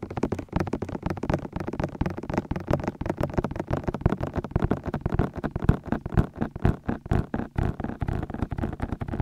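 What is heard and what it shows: Fingertips tap and knock the outer rims of the white silicone ears on a 3Dio binaural microphone. The result is a rapid, steady stream of muffled, low, boomy thumps that stop dead with no ring and carry almost no bright content.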